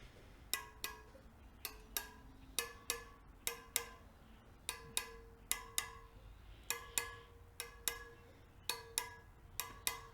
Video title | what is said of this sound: Kawasaki KLR 650 First Start- Mice Nest in Air Box Front Brake Caliper Flush - Techn' Moto | lightly tap each spoke and if their is a loose spoke it will give you like a dull sound